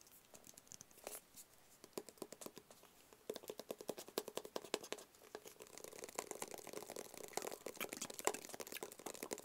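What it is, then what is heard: Small cardboard box. Fingertips tap a small, flat, black, rigid cardboard box that is hollow and closed and held in both hands. The quiet taps are short and dry, with a hollow, papery knock around 430 Hz and bright crisp edges. They start sparse and grow into a fast, dense patter after about three seconds.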